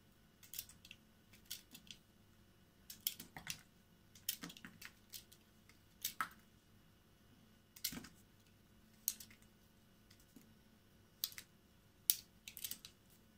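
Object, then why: Bar of soap cut with a small knife. A solid green and white bar of soap is held in the hand and scraped and cut with a small knife blade, shaving off flakes. Short, crisp, bright scraping and slicing bursts come in irregular clusters with quick decays, over a faint low steady hum.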